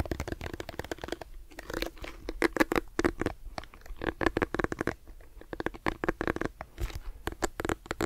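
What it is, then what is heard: Plastic hairbrush scratched. Fingertips and nails scratch the dense plastic bristles and the hollow-looking smooth back of a handheld lilac plastic detangling brush held in the other hand. The result is a steady run of rapid, crackly scratching and tapping bursts with a faint hollow tone near 336 Hz beneath them. The sound stays close and dry, with quick bright clicks that stop sharply.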